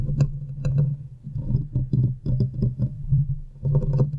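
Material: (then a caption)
Metal mesh. Long nails scratch and tap the hollow metal mesh head of a silver condenser microphone, producing dense, boomy scraping and muffled thumps dominated by a low hum, with occasional brief bright clicks on sharper taps. The sound swells and dips in uneven bursts and thins briefly as the hands partly pull away near the end.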